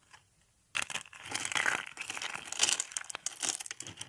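Thin, ridged sheets of dry pink soap are crushed into flakes between fingers. After a brief near-silence, a dense, bright crackling crunch starts suddenly and continues with rapid, dry crinkling snaps. The sound is mostly high-pitched, with almost no low end.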